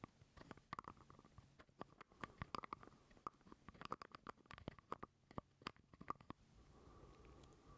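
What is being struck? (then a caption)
Small plastic jar lid. Fingernails tap and scratch a small, hollow purple plastic jar lid held close to the mic. Quiet, sharp clicks and taps come in an irregular patter over a faint, hollow midrange ring. In the last second and a half they give way to a softer, steady scratching.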